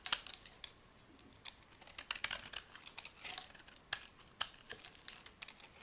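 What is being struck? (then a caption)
Bar of soap shaved with a metal blade. A solid white oval soap bar is shaved with a metal blade, brittle strips breaking off. The result is a quiet run of sharp, bright scraping clicks and crisp crackles, each dying away almost instantly, with almost no low end.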